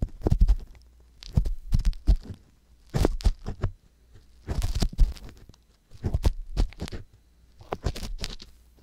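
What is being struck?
Silicone ear on a binaural microphone.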